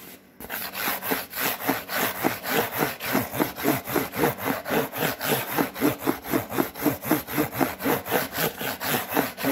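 Fingernails and fingertips scratch and rub a white cardboard Priority mail box with a fold line. After a brief quiet start, a rapid, steady run of dry, papery strokes repeats at about four per second. Each stroke carries a low-mid scrape and a bright hiss.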